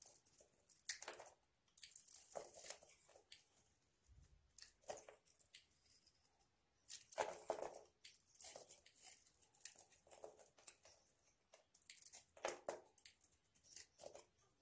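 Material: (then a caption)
Soap. A hand-sized solid white bar of dry soap coated in red nail polish is held in the hand and shaved with a utility knife blade into curls. Quiet, dry, crunchy scraping strokes come in irregular bursts with short pauses, each a bright crackly rasp with almost no low end and no ring.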